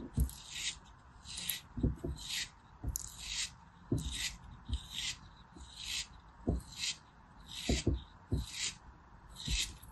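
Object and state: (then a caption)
Kinetic sand block. A small black craft blade cuts and scrapes into a small, solid moulded cube of beige kinetic sand held between fingers with long blue-painted nails, slicing pieces off. Repeated bright, gritty scraping bursts each end in soft, short, low thuds as the pieces break away.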